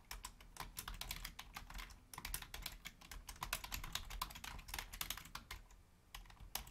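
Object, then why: Plastic computer keyboard. Continuous typing on a black Logitech plastic keyboard resting on a wooden desk, struck with long painted nails and fingertips. Quick, bright, clicky key taps come in an uneven stream, each dying out almost at once over a soft low thud from the keys bottoming out.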